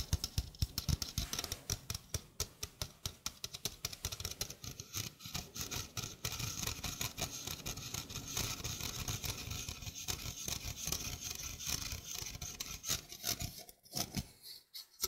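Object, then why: Stainless steel wire-mesh sink strainer. Fingernails scratch and rub the wire mesh of a small hollow stainless steel sink strainer with a flat rim, held close to the mic. Quick, crisp scratches stack into a dense, bright rasp over soft low thumps. The scratching stays steady, then thins into a few scattered strokes and short pauses at the end.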